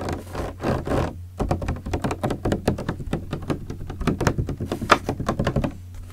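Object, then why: Partly filled plastic water bottle. Fingertips tap and knock on the body of a large, clear green PET plastic bottle with a red cap, partly filled with liquid. After about a second of soft rustling swells, a quick, uneven run of short, dull, hollow knocks follows, each dying away almost at once. A steady low hum sits underneath throughout.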